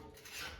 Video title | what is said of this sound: Air Fryer Trader Joe’s Falafel: So Crispy, Ready in 10 Minutes! 🔥 | Do you hear how crispy they are? The outside of them is so crunchy.